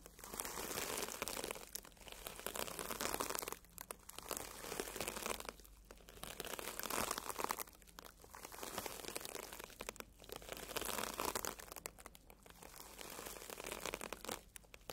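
A red, porous foam sponge, solid and soft, is brushed and scratched with the tips of two bristle tube brushes. Quiet, dense, bright crinkly scratching comes in long swelling passes, separated by brief near-silent gaps.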